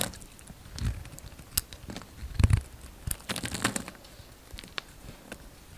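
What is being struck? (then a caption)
Bar of soap cut with a steel blade. A steel utility-knife blade shaves curls from a hand-sized, solid white bar soap with a brown outer layer, held in the palm. Quiet, crackly scraping and crisp cutting strokes come in short bursts with bright edges. A couple of louder, dull low bumps stand out midway.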